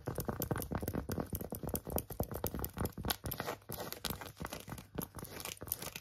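Long acrylic nails scratch quickly across an empty, small, hollow pink phone case with a tweed fabric back and a silicone rim. The result is a dense, continuous stream of dry, crunchy scratches and tapping strokes with a heavy low end and very little ring.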